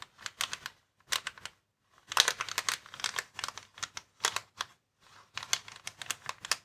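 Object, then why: Plastic air column cushion packaging. A flat, clear plastic air column cushion bag, hollow with air-filled columns, lies on a wooden table while fingertips and short nails scratch and tap its surface. Bursts of bright, crisp crinkling and ticking come in short clusters separated by brief pauses, each tap decaying almost instantly.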